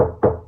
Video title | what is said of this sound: How to SOUNDPROOF a New Build Semi-detached Property | here I'm tapping that's a hollow sound